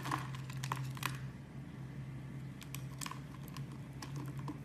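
A metal blade scrapes and carves grid-cut cubes off the face of a hand-sized, solid amber-brown translucent bar of soap held in the hand. Sharp, dry clicks and crisp scraping snaps come in irregular bursts, loudest in the first second, over a steady low hum.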